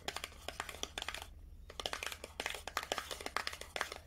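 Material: Paperboard.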